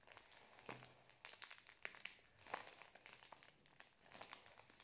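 A full cylindrical Prince biscuit pack in plastic film is held horizontally in both hands close to the mic while the fingers squeeze and rub the wrapper. The result is a quiet, bright, continuous crinkling made of many short crackling snaps, with almost no low end.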